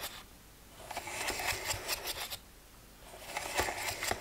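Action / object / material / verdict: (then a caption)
scrape / plastic pill organizer lids / plastic / none. Fingernails scratch quickly across the closed lids of a hollow plastic weekly pill box that has one row of lids open. Two bursts of dry, bright, rapid scratching ticks rise, separated by a quieter pause.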